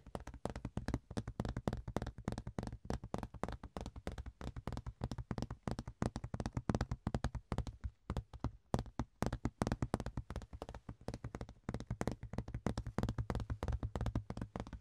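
A large, thin, ribbed rectangular clear plastic box lid is held in both hands and tapped and scratched with the fingertips. Rapid, dry, short clicks and taps fall in quick irregular bursts over a faint low hum, with little high ringing.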